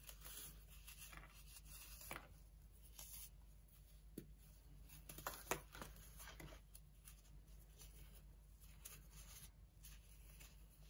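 Bare fingertips snap and crumble a solid chunk from a cracked slab of dried, compressed baking soda on an orange tray, rubbing it into loose powder. Soft, dry crunches and gritty crumbling crackles come in irregular bursts, with a few sharper snaps, over a steady low hum. The chunk breaks down into fine powder.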